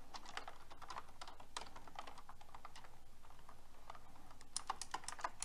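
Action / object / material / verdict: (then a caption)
tap / mechanical keyboard with plastic keycaps / plastic / none. Fingertips with long red nails type on a pink mechanical keyboard with round plastic keycaps. A steady stream of quick, light clicks and clacks runs throughout, with a few sharper, brighter taps near the end.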